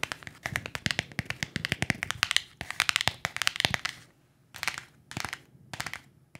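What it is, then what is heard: Cardboard box tapped with fingernails. A small, hollow printed cardboard box is tapped and scratched with long acrylic nails. The sound is a quick run of sharp, bright clicks and scratchy rasps for about four seconds. After a brief pause come a few shorter bursts of tapping and scratching.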